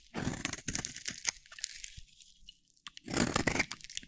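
A solid, dry pink soap bar held in the hand is shaved with a metal utility blade, giving dense, crunchy scraping with bright, crackly texture. Two bursts of crunching are separated by a quieter stretch of faint scraping near the middle.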